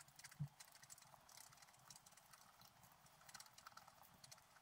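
A pointed wooden stylus scratches the black coating off a flat scratch art sheet lying on a table, in short strokes. Quiet, dry, bright scratching rasps follow one another steadily, with a single soft low thump near the start.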